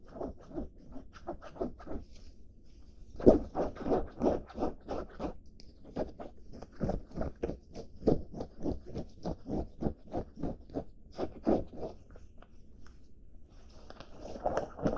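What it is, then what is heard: Denim fabric being scratched. Short, dark-painted fingernails and fingertips scratch and rub along the seams and surface of a soft cotton denim garment (jacket or jeans) held up close. The result is a quick, uneven run of soft, raspy, muted strokes, about three per second, with a sharper scrape near the three-second mark. The strokes fade and swell in clusters throughout.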